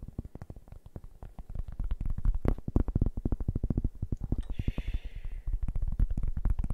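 A large, round, flat cork board, solid and thin, is held and tilted in one hand while the fingertips and nails of the other tap and scratch it. The result is a quick, steady run of dull, low, short taps, with a brief brighter scratching sound partway through.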